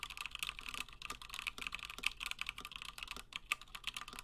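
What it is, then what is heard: Mechanical keyboard with PBT keycaps, typed on. Fingertips of both hands type continuously on a Gingham 60% plateless mechanical keyboard with Gateron Black switches and cream and blue PBT plastic keycaps. The result is a rapid stream of short, dry, bright clacks centred around 2.6 kHz, with almost no low end and no ring after each keystroke.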